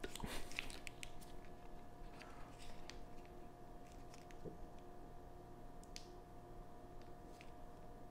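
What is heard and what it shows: Gloved fingertips hold, turn and squeeze a long, thin, solid Charleston Chew chocolate nougat bar in a crinkly plastic film wrapper, while a second, unopened bar lies still on a cutting board. Soft, irregular crinkles and light clicks rise over a low, steady background hum, loudest in the first second and then quieter.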